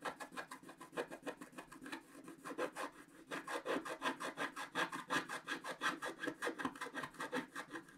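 A wooden stylus scrapes the coating off a flat sheet of wax-coated scratch art paper, with black coating over colored paper, in short strokes. About 40 quick, dry, rasping scratches follow one another in a loose, steady rhythm. Each stroke is brief and bright with almost no ring.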